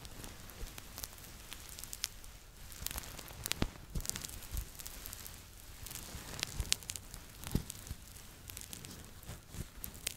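Fingertips and nails scratch and rub the fleece back of a red Po Teletubby plush, its soft stuffed body held in both hands right at the microphone. A steady, dense, crackly scratching fills the clip, with bright, sharp ticks scattered throughout over a soft low rumble.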